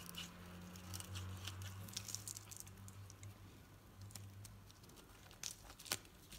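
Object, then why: Bar soap scraped with a metal knife. A metal knife scrapes and carves shavings from a hand-held, painted solid green bar of soap with a dark edge. Quiet, crackly scraping and soft crunching patter along, with bright flicks and a low steady hum underneath. A couple of sharper scrapes stand out near the end.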